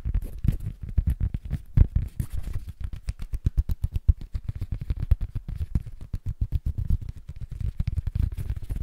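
A small, flat, rectangular solid cork board is held upright in both hands and tapped rapidly with fingertips and nails, with some scratching. The taps are dull, low thuds in a quick, uneven stream with almost no ring and very little brightness.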